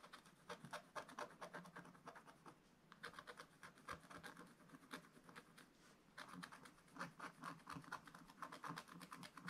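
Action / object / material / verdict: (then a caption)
scrape / black-coated scratch-art paper scraped with a wooden stylus / coated paper / none. A wooden stylus makes scratching strokes near the basket area on a black-coated scratch-art paper page in a spiral book. Quick, dry, rasping scrapes come in rapid bursts with brief lulls in between, each stroke stopping almost instantly.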